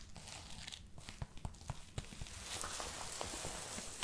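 Long manicured nails scratch and rub the sleeve of a worn camo-print padded winter jacket with a crinkly synthetic nylon shell. Sharp, scratchy crinkles and brief low thumps come first, then settle into a denser, steady rustle with a bright hiss.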